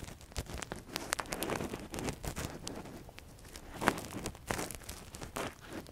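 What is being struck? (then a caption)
Silicone ear model scraped with a thin metal pick. A long, thin metal earpick is inserted into the canal of a silicone ear model and scratched around inside, with a latex-gloved hand. It gives close, dense scratching and crinkling with quick, dry clicks and rustles that flare bright and fade with no ring.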